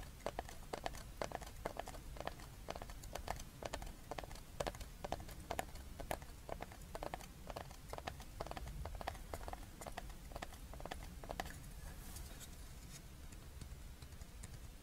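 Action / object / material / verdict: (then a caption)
tap / small thin flat wooden board / wood / none. A small, thin, flat, paddle-shaped solid wooden board engraved "HAPPY NEW YEAR" is held in both hands and tapped and scratched with long red-painted fingernails. Many quick, dry clicks with a hollow woody tone ring out over a low, steady rumble. Near the end the clicking gives way to a softer, brighter scratching.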